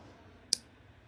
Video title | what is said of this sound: Squares Near Miss Tactile Turn Switch Ver 2 Stonewashed Standard #Review #Unboxing #Comparison #EDC | makes this little poop noise at the end, like you can kind of hear it, like it's hollow